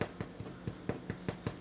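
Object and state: Cinnamon rolls baked through (hollow).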